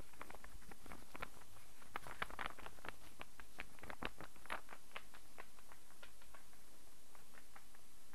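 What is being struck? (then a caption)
Wooden star burr puzzle. A solid light-wood star burr puzzle is held and rotated while fingernails tap it and its pieces knock together. The result is a quiet, steady run of sharp, dry wooden clicks and taps over a low background rumble.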